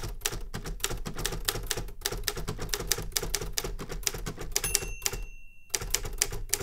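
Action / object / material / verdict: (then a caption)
tap / metal manual typewriter / metal / none. Fingertips type rapidly on the keys of a metal manual Remington Super Riter typewriter, making a dense run of sharp, bright clacks over a low thudding undertone. The keystrokes pause for a moment near the end, then resume at the same quick pace.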